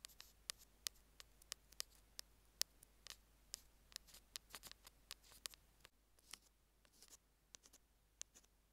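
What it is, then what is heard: Plastic earphone mic remote. Metal tweezer tips tap and scratch a small hollow white plastic Apple in-line earphone mic remote lying on a green jade stone. About 20 sharp, bright clicks come at an irregular pace, mixed with soft scratching. Each click is high and dry and dies away almost at once over a quiet background.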